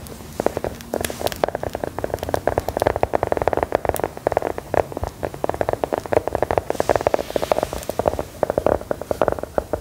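A small, solid, brown round biscuit embossed with "LOVELY" is held in the hand and tapped and scratched with long gold metal filigree nail claws. Fast, dense, sharp clicks and crackly scratches go on steadily throughout, each dying away almost instantly, with a dry, hollow mid-range tone.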